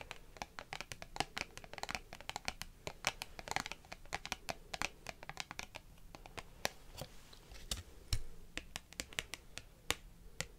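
Long green-painted nails tap and scratch across a small, flat, glossy laminated card bookmark with pink and green illustrated art, held in one hand. The result is a quiet, steady stream of sharp, dry clicks and brief scratches with bright edges and almost no ring.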